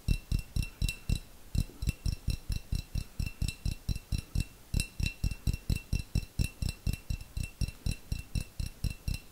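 A small, hollow, clear glass jar with a little contents at the bottom is tapped rapidly with long fingernails. About 39 quick taps come in an uneven rhythm with brief pauses, each giving a short, dull low knock topped with a bright, clicky glassy tick that dies away almost at once.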